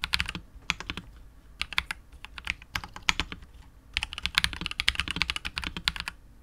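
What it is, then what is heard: Mechanical keyboard with plastic case being typed on. A KBD67 Lite R2 65% mechanical keyboard with KTT Wine Red switches, PBT keycaps and a hollow clear polycarbonate case is typed on continuously with the fingertips of both hands. Bright, crisp clacks with very short decay come in quick irregular runs, with a brief lull before a denser, faster burst.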